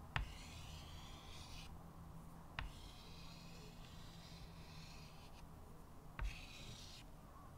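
A stick of white chalk held in the fingertips scratches and draws lines across a small square chalkboard with a thin wooden frame, lying flat on a table. Long, soft, bright scraping strokes rise and fall, broken by a few sharp taps as the chalk meets the board. A steady low hum sits underneath throughout.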